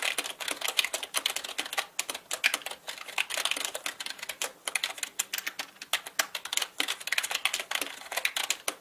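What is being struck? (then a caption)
Mechanical computer keyboard with plastic keycaps. Both hands type quickly with their fingertips on a black mechanical computer keyboard with plastic keycaps. The result is a dense, steady stream of sharp, bright clicks and clacks with no low-end body. Each keystroke stops almost instantly, with short gaps scattered between bursts.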